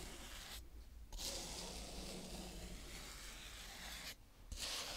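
A green plastic toy scoop smooths and scrapes across a round patch of brown kinetic sand. The result is a steady, bright, grainy rubbing hiss with a low rumble underneath, broken by two brief quiet pauses before the scraping resumes.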